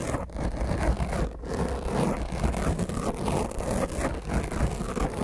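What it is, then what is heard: Foam microphone windscreen being scratched. Both hands rapidly scratch the top of a black foam microphone windscreen with long nails. The result is a continuous, rough scratching rumble that is heavy in the lows and has almost no bright content, with the texture fluctuating throughout.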